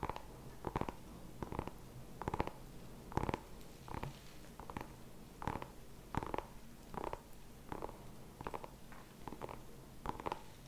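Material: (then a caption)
Pumpkin rind. Fingertips and nails tap and scratch the skin of a small whole orange pumpkin with a stem, held in the hands. Quick, dry, hollow knocks come in short clusters of double and triple taps, each with a low thump and a midrange body. Faint scratching fills the quiet gaps between them.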